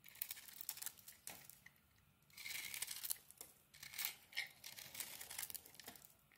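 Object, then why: Soap bar. A metal blade shaves the edges of a solid, crumbly white soap bar with a pink coating. It makes quiet, bright scraping and crumbling strokes in uneven bursts, with soft crackly texture and almost no low end.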